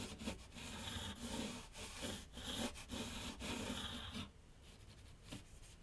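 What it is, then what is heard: Pencil scratching on a paper sheet over a drawing board. A graphite pencil scratches sketch lines across a large flat sheet of white paper on a board on an easel. Steady, bright, dry scratching strokes run for about four seconds, then drop to a much quieter, fainter scraping for the rest of the clip.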